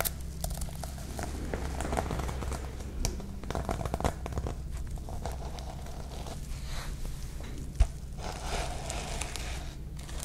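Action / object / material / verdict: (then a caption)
scrape / plastic sequins on a notebook cover / plastic sequins / none. Long nails and fingertips sweep and scratch across the plastic sequins of a sequin-covered notebook cover, making a steady, dense crinkling and scratching texture with bright, fine crackles. A constant low hum runs underneath, and one sharper click stands out near the end.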